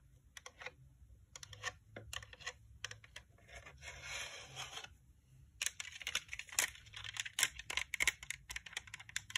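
Long painted nails tap and scratch a pink, hollow plastic dome UV nail lamp. Bright, crisp clicks come in quick bursts, broken by a steady scratching stretch in the middle. The tapping then turns faster and denser toward the end.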